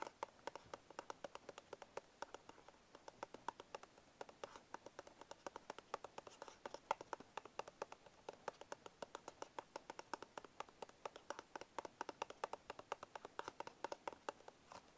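A small paperboard Bisco biscuit box is held tilted in one hand while the fingertips of the other hand tap its top panel near the barcode. The result is a steady, quiet stream of quick, dry, hollow cardboard taps with a mid-pitched knock around 880 Hz. Each tap dies away almost instantly.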